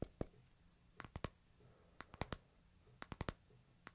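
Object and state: Smartphone in plastic case, tapped.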